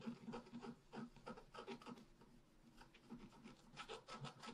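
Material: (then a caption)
Coated paper. A wooden stylus scratches small marks into the lower right of a flat, black-coated sheet of scratch art paper. Quick, uneven rasping strokes repeat in short bursts, each a dry, scratchy rub with a low-mid body and a brighter papery edge.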